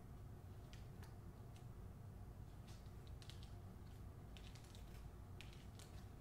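Long nails tap and scratch across the glossy paper dust jacket of a hardcover novel held up in the air. Faint, bright ticks and scrapes sit over a steady low hum at a very quiet, even level.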